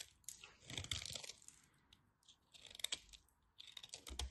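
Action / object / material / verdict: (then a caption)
scrape / bar soap cut with a blade / soap / none. A craft blade cuts crunchy pieces off a thin remaining orange slab of dry bar soap held in the fingers. The result is quiet, bright, crisp crunching and crackling in three short clusters of rapid dry snaps, separated by near silence.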